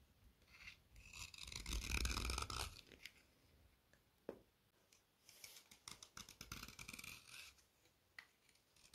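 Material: Chalk.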